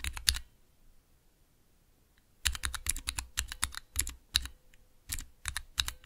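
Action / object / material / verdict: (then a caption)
tap / plastic mechanical keyboard switch tester / plastic / none. Fingertips press and tap the clear plastic keycaps of a small 3x3 switch tester, with Cherry MX switches set in a clear plastic base resting on dark velvet. A short flurry of clicks is followed by a quiet pause, then about two dozen quick, bright plastic clacks with a soft low thump, each dying away almost at once.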